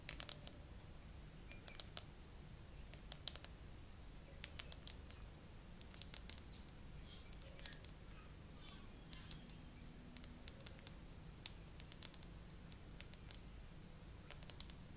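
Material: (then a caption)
Plastic. Long nails tap and scratch a clear plastic glitter phone case on an iPhone, decorated with green 3D charms and pearls and held in a tripod holder. Slow, quiet, sharp clicky taps with bright edges sound over soft scratching on the case surface and raised charms, above a low, steady background rumble.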